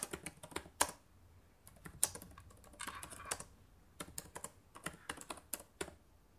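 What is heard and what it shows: Both hands type with fingertips and long painted nails on the plastic chiclet keys of a black laptop keyboard. Quick, irregular runs of sharp, bright clicks and taps die away almost instantly, with a brief denser cluster in the middle and short quiet gaps between bursts.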